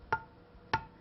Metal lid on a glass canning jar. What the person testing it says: Hear that dull sound? That tells me this jar hasn't sealed.